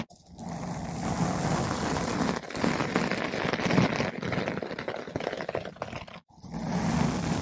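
A flat paintbrush with blue synthetic bristles brushes a large, soft, porous yellow-pink foam ball windscreen fitted over a microphone. It makes a close, dense, scratchy rustling with a full low-mid body that continues steadily, with brief dips near 2.4 seconds and a short silence just after 6 seconds before the brushing resumes.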